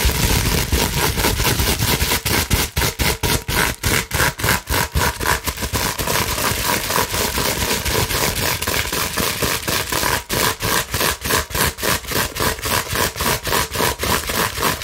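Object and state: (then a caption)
Plastic bubble wrap sheet. Long nails scratch rapidly across a clear plastic bubble wrap sheet, making a dense, bright, crackling hiss that fills the whole clip. The scratching pulses in quick strokes at roughly four per second, each marked by brief dips in loudness, with a faint low rumble underneath.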